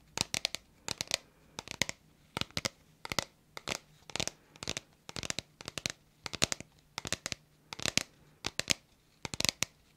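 Long nails tap and scratch along the body of a hollow, hand-sized red plastic bottle with a white cap. Quick clusters of sharp, bright clicks come in steady bursts, with faint scratching between them. Each tap is dry and dies away at once, with almost no low end.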